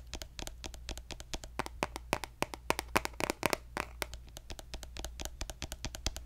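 A pink plastic lotion bottle, held horizontally, is tapped along its body with fingertips and nails. The result is a rapid, uneven run of short, dry clicks and taps, some louder than others, with bright, crisp highs and almost no ring. A steady low hum sits underneath.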